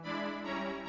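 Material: Nothing is struck.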